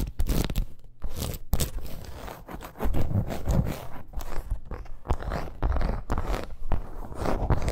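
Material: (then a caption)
Faux leather. A red snake-embossed faux leather bracer lying flat is scratched rapidly with long acrylic nails. It makes a dense, crunchy, dull scraping, mostly low in tone, in quick bursts with brief dips between strokes. Each scratch stops short with almost no ring.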